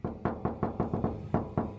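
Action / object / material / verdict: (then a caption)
knock / steel car door panel / steel / hollow. Knocking on the untreated steel door panel of a Honda Prelude with no sound deadening gives nine quick, hollow, tinny knocks. Each knock has a short ring and a pitch around 220 Hz. This is the unwanted "tinging" noise that sound deadening is meant to fix.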